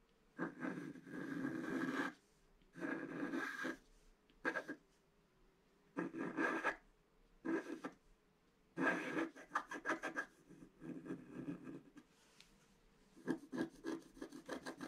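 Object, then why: Coated scratch-art paper scratched with a pointed wooden stick. A pointed wooden stick scratches across a flat scratch-art sheet, a black coating over colored paper. Dry, raspy scraping comes in bursts separated by quiet pauses: longer sustained strokes at first, then quicker, choppier strokes toward the end. A faint steady tone sits in the background between the strokes.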